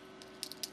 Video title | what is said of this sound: Acrylic Application pt 2 | If it's not dry, see, it sounds a little less dense. It doesn't sound as good.